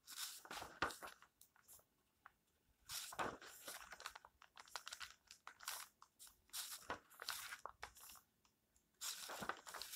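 Hands smooth and flip the paper pages of a small open paperback book. The result is soft, bright rustling and crisp crinkling bursts with short quiet pauses between them, and almost no low end.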